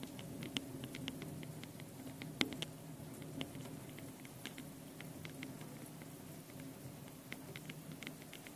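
Long painted nails rapidly scratch and tap the two metal mesh microphone capsules on top of a small handheld Tascam recorder. A dense patter of quick, dry, bright ticks and scratches plays over a steady low hum, with one sharper tap standing out partway through.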